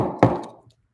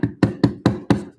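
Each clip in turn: First: A single crisp knock with a low body that dies quickly: a hard urethane skateboard wheel. Second: Five quick, dull knocks with a low body around 280 Hz; the softer urethane wheel gives a muffled thud.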